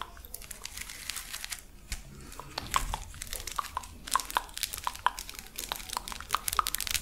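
A hand-sized, hollow purple plastic lattice fidget toy is stretched, compressed and scratched with long acrylic nails. Dense crinkling and crunching comes through with sharp, bright clicks and short pops. The snaps are especially steady through the second half.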